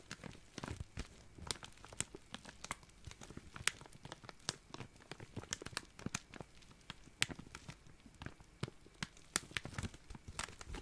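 A small, clear, thin, empty plastic zip-lock bag is crinkled with the fingertips. It gives a steady stream of sharp, bright crackles and snaps over a soft rustling bed, with each crackle cutting off almost instantly.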